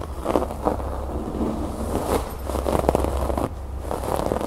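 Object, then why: Fabric cushion with raised rope embroidery. Fingertips and long nails scratch and tap the raised brown rope embroidery on a large, soft cream-fabric cushion or pouf. The result is a steady, dull, scratchy rustle with quick soft taps mixed in, mostly mid-pitched with almost no bright high end and a low background rumble.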